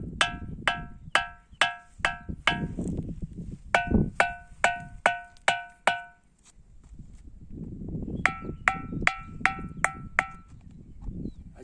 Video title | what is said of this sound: WONDER OF NATURE - RINGING STONES MAHARASHTRA BHARAT | आवाज metal metal असल्यासारखा येतो म्हणजे धातू आहे